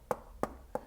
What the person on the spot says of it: if you do tap it it sounds quite plasticky